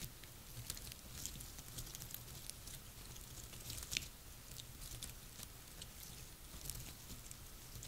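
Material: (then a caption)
Wood. Long nails scratch and tap the woody scales of a cluster of dry pine cones resting on a table. The result is a steady run of quiet, dry, crackly scratches and sharp bright clicks with almost no ring, over a faint low rumble.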